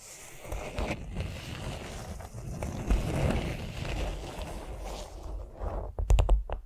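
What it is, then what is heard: Beeswax-coated cotton food wrap. A flat beeswax-coated cotton food wrap rests on a vinyl mat while long nails tap and scratch across it. Steady, low, rough scratching and rubbing fill most of the clip, punctuated by soft taps. It ends with a quick burst of sharper, crisp taps.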